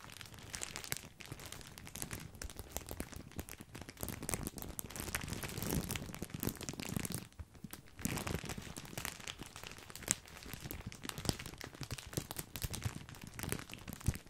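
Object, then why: Plastic bag of breadsticks. A full, large white printed plastic bag of grissini breadsticks is squeezed and crinkled with both hands. Dense, bright plastic crinkling and crunching continues throughout, with a brief quieter pause partway through.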